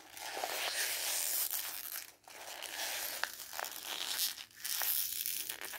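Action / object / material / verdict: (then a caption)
scrape / glossy magazine paper page / paper / none. Hands tear and crumple a red-and-white printed strip of glossy magazine paper held between the fingers. The result is a dense, bright crinkling and crackling with sharp tearing snaps, pausing briefly twice before the rustling resumes.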